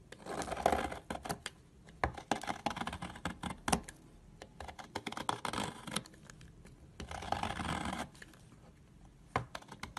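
A solid yellow egg-shaped soap bar, held in a hand with long purple nails, is shaved with a red utility knife, and crumbly shavings pile up. Dry, crackly scraping strokes come in bursts, with short sharp clicks between them and quiet pauses.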